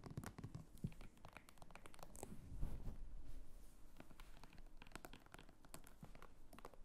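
Long nails scratch and tap the textured sides and top of a small red croc-embossed faux leather clutch. The result is a quick, uneven run of soft clicks and raspy scrapes, dry and close, with a low, dull body under the brighter crackle.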